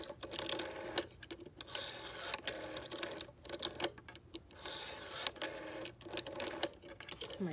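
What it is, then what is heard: Plastic rotary phone dial, tapped and scratched. Long painted nails tap and scratch the clear plastic finger wheel of a vintage rotary telephone, which has a brass-coloured metal rim and a green body. The result is a quiet, steady run of bright, crisp clicks and scratchy rustles, dominated by high treble with almost no low end.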